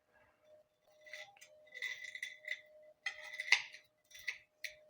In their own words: छान कुरकुरीत आवाज येतो एकदम त्याचा हे असे ओपन करून ठेवायचे कोफते